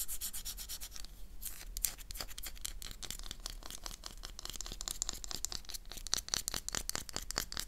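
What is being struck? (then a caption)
Bar of soap scratched with fingernails. A solid oval black Magno soap bar is held in the hand and scratched with long, dark-polished nails. Dense, bright scratching strokes follow one another in a quick, steady rhythm over a faint low hum, each stroke short and dry with no ring.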